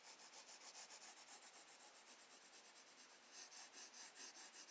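A graphite pencil held in the fingers strokes, rubs and shades across a recycled-paper page of a spiral-bound sketchbook lying flat on a wooden desk while drawing a bird. Soft, bright, hissy scratching comes in a steady rhythm of about two to three strokes per second, with no low end, and swells slightly louder toward the end.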